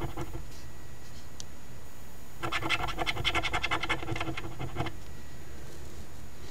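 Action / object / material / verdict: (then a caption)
scrape / cardstock lottery ticket scratched with a coin / cardstock / none. A coin pinched between the fingers scratches the latex coating off a flat cardstock $5 OLG Ontario Lottery "Very Merry Multiplier" instant scratch ticket, #2465. After a quiet start with faint scrapes, a burst of quick, rhythmic scratching strokes runs from about 2.4 to 4.9 seconds, making a bright, rasping sound over a low background hum. It then settles back to quiet.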